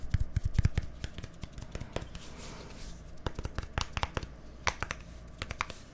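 A small, hollow white plastic deodorant stick with a green cap is held near a microphone and tapped with fingertips and nails. Quick, irregular taps give dull, low hollow thumps mixed with sharp, bright clicks that die away almost instantly. A fast flurry opens the clip, then the taps thin out over a quiet background.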